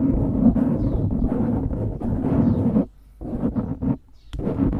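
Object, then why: Foam microphone windscreen. Fingertips scratch the sides of a dark grey foam windscreen on a microphone, making a dense, rustling, low-heavy scratching with a steady hum-like tone near 230 Hz. The scratching runs continuously for nearly three seconds, drops out briefly, returns in shorter bursts, pauses again, then resumes.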